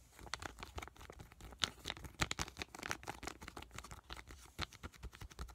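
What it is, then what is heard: Foil sheet mask pouch, full. A small, full white Makgeolli sheet mask packet made of crinkly foil and plastic laminate is held in the hands and tapped and squished with fingertips and short nails. Dense, bright crinkling and crackling mix with quick, dry taps that stop instantly with no ring, at a quiet, close level.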